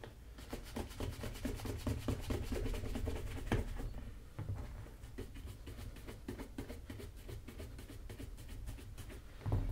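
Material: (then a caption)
Leather. A wooden-backed bristle brush is swept briskly back and forth over the leather upper of a black leather Magnanni double monk strap shoe held in hand. It makes a steady run of rapid, dry scrubbing strokes, about two per second, with a dull, low-heavy body and little brightness. A sharper stroke stands out near the end.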